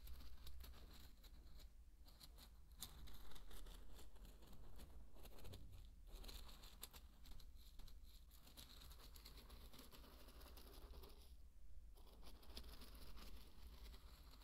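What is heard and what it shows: A thin wooden stick pokes and stirs through a bed of dry pearl barley grains, producing a dense, continuous rustle of small crinkling, pattering grain clicks. A steady low hum runs underneath throughout the quiet clip.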